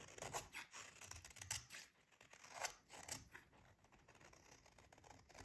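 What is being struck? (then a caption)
Bar of soap scraped with a metal blade. A short metal utility blade shaves a solid, hand-sized bar of dry pink soap held in one hand, sending thin crunchy curls falling onto the table. Quiet, dry, crisp scraping crunches come in uneven strokes, bright and hissy with little low end and almost no ring.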